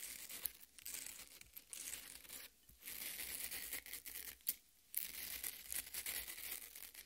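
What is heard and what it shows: Long red nails scratch and dig into the crumbled red flesh of a half watermelon. The result is a bright, crackly tearing and crinkling sound, mostly high-pitched with almost no low end. It runs nearly continuously, with brief quiet gaps around 2.6 and 4.7 seconds.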